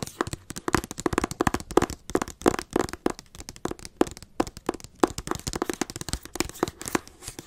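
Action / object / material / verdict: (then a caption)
tap / hardcover book cover / cardboard / none. Long acrylic nails tap and scratch the front cover of a teal hardcover book, producing a rapid, irregular run of short, dry clicks with very little ring. Scratchy rubbing fills the gaps between taps, and a faint mid-pitched tone sits under the bright tapping throughout.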